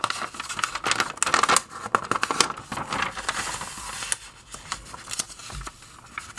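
Fingertips lift and turn the thin pages of an open glossy paper magazine, forwards and backwards, rubbing the paper as they go. Crisp, bright rustles and crinkly swishes come in quick, uneven bursts with almost no low end. Each flick of a page ends in a short, dry snap.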